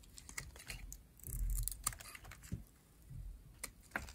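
A metal blade shaves curls from a cream-colored, rectangular, solid dry bar of soap with an orange edge. Many quick, dry, crisp scraping clicks with a bright edge sound over a soft low rumble, with louder swells of shaving and sharp ticks. Each sound stops almost at once, with no ring.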